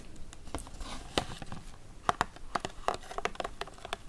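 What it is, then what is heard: Plastic blister pack with spoons inside. Long pink-painted nails tap lightly across a hand-sized retail pack resting on a wooden table: a hollow clear plastic blister holding three plastic baby spoons, mounted on a printed cardboard card. A quick run of short, dry, clicky plastic taps is heard, some brighter and sharper than others, with a faint crinkle and almost no ring.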